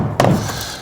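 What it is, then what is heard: Solid wall spot over a stud. A single knock on a plywood-sheathed, wood-framed wall at the spot chosen for a brick tie. It gives a short, solid low thunk that fades out quickly. The solid sound shows there is a stud behind that spot, so the tie goes there.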